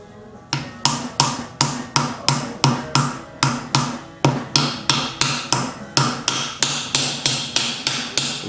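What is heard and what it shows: A differential side seal is tapped into the casing of an S13 R200 differential with a hammer and a seating tool, producing a steady series of sharp, bright metallic taps with a short ring. The sound of the taps shows the seal has bottomed out and is fully seated.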